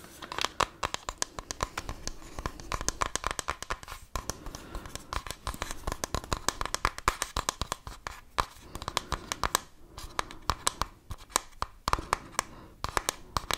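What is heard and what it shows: A small hollow plastic toy camera is held in both hands while fingernails tap and scratch quickly over its surface. Dense, sharp clicks and scratchy rasps come in fast clusters with brief pauses, carrying a steady mid-pitched tone near 1 kHz and bright crackle.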